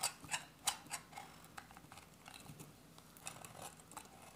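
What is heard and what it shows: A solid beige dry soap bar, held in the hand, is cut with a metal utility-knife blade in short scraping and shaving strokes. A few sharp, bright crackling scrapes come first, then give way to quieter, fine shaving rasps. The sound is dry and crisp with little low end and almost no ring.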